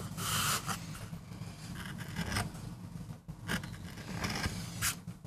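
A metal gouge carves and scrapes fine lines into a small, flat, solid MDF board held by fingertips, cutting a rose design for a relief print. Short, bright, raspy scraping strokes come in uneven bursts over a steady low rumble.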